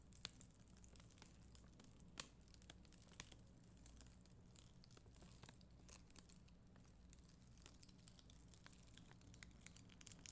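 A black mascara spoolie, held with long green nails, brushes across a flat, solid sheet of red and clear acrylic gem stickers on a white backing. The result is a quiet, steady, bright crinkling scratch made of many tiny crisp ticks, with a few sharper clicks. A soft low hum sits underneath throughout.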